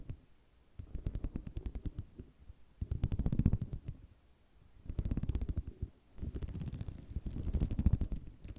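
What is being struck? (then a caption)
Ceramic mosaic tile sheet. Fingernails drag across the rows of a flat sheet of small white square ceramic mosaic tiles resting on cloth. The result is a scratching, rattling clatter of rapid tiny clicks that comes in four bursts separated by short pauses. The sound is low and muffled.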